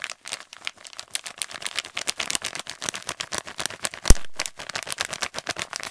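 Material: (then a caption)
Kraft paper. A kraft paper pouch held in both hands is crinkled and tapped with the fingernails, making a fast, continuous run of dry, crisp crackles and clicks. One sharper, louder tap stands out about two-thirds of the way through, followed by a brief rustling swell before the quick crinkling resumes.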